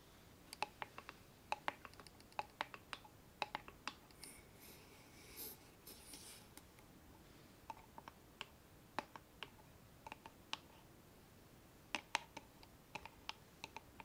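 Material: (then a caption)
Wood. A small hollow wooden box with a metal latch, held in both hands close to the mic, is tapped and scratched with long nails. Many quiet, sharp, dry taps come in irregular clusters with a bright click and almost no ring. A soft, hissy scratching passage runs in the middle, from about 4 to 6.5 seconds.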